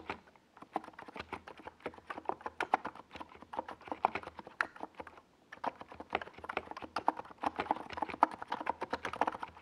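Fingertips of both hands type rapidly on a NiZ Plum Atom 68, a compact 68-key mechanical keyboard with a hollow white plastic case and purple and yellow Domikey Gas Attack SA plastic keycaps, resting on a desk pad. The crisp, hollow, mid-toned key clacks come in quick, dense bursts with a brief pause near the middle, each tap dying away almost instantly.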